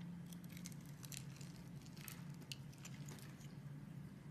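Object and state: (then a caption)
Bar soap being carved. A metal box-cutter blade carves a solid green bar of soap, and small cubes break off the scored surface. Quiet, crisp crunching and crackling ticks come through, bright and short, over a steady low hum.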